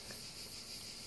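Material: Nothing is struck.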